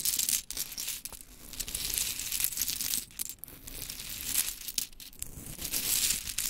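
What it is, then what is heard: Pile of small wooden clothespins. Long chrome nails scoop, drop and tap through a heap of small pink wooden clothespins. The result is a dense, bright clatter of quick dry clicks and rustling with very little low end, rising and falling in short bursts throughout.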